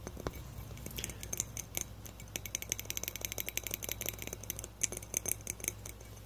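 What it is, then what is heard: Frosted glass light bulb. Fingertips and nails tap rapidly on a small, hollow frosted glass light bulb with a metal screw base, held in both hands. The result is a fast, uneven stream of short, bright clicky taps with almost no ring, over a steady low hum.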